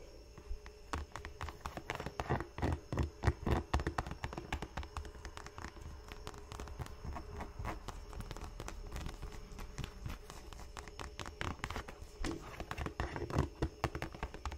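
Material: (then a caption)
Leather. Long painted nails tap and scratch the rounded leather toe cap and grooved rubber sole edge of an empty black leather Dr. Martens Chelsea boot held upright. The result is a dense, irregular run of quick, dull, low taps with almost no ring, mixed with soft scratchy friction.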